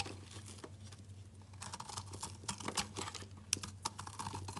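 A metal utility knife scrapes and cuts small chunks from the edge of a solid layered rainbow bar soap. Soft, crisp scraping runs into quick, bright crunchy cuts over a steady low hum, with a few sharper snaps near the end.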